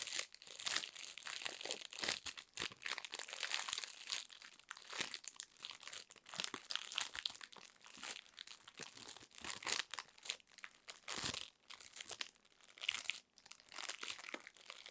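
Long acrylic nails scratch and squeeze the thin, printed plastic wrapper around a solid, cylindrical roll of plastic trash bags about 25 cm long. Dense, bright crinkling and crackling runs throughout in quick, uneven bursts, with almost no low end and no ring after each crunch.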